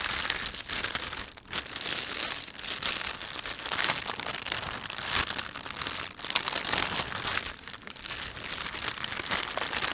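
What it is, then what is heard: Plastic shopping bag being crinkled. Hands stretch and rub the film of a thin, empty panda-print plastic shopping bag. It makes a steady, bright crinkling and crackling with very little low end, swelling and easing as the plastic is worked for about ten seconds.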